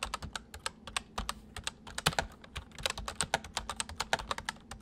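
Fingertips of both hands type quickly on a white full-size MSI plastic mechanical keyboard with hollow keys. About 34 sharp, bright keystrokes clack in a steady run, each dying away almost instantly, with a faint low hum underneath.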